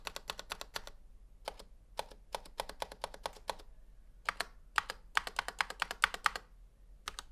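A single gloved fingertip presses and taps individual keys on a full-size black Razer Huntsman V2 Analog mechanical gaming keyboard with plastic keycaps, a metal/plastic frame and a hollow housing with switches, lying flat on a white table. About 38 sharp, dry, bright clacks come in quick bursts separated by short pauses. Each clack dies away almost instantly, over a faint low hum.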